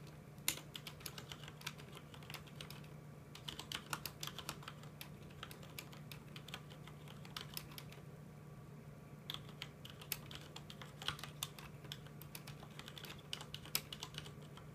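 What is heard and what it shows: Fingertips of both hands type on a full-size mechanical keyboard with plastic keycaps, producing quick, bright, sharply clicking keystrokes in irregular bursts. There is a short pause in the middle, and a steady low hum runs underneath throughout.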